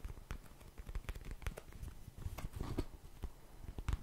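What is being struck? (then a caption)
Cardboard tissue box. A small, hollow printed cardboard Cheeky Panda tissue box is tapped and scratched with fingernails. A quick, irregular run of soft, dull, low-heavy taps mixes with dry scratchy crackles, each sound stopping almost at once.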